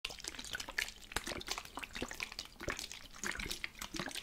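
A plastic spray bottle with water inside is shaken, and the liquid sloshes and splashes against its walls in a rapid run of wet, bright bursts. The shaking is fairly steady, with a few sharper jolts standing out.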